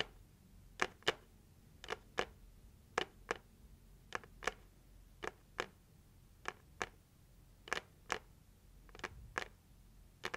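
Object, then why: Heart-shaped cardboard gift box. Long acrylic nails tap the lid of a hollow, pink printed heart-shaped cardboard gift box held in both hands. Eighteen short, crisp, bright clicks come mostly in quick pairs and die away almost instantly. A quiet, steady background lies between them.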